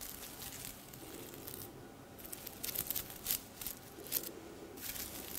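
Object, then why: Sequined fabric garment. Long red nails brush and scratch across the sequins of a silver sequined top hanging on a hanger held up in the air. The result is a quiet, bright, crinkly rustle that flares into sharper scratchy bursts in the second half.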